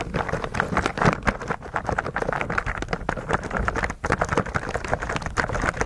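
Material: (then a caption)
Plastic. Fingertips of both hands repeatedly press the plastic keycaps of a white mechanical keyboard coated in thick translucent blue slime. The result is a rapid, continuous stream of muffled, sticky taps and wet squelches, with short clicks rising through a soft, low body.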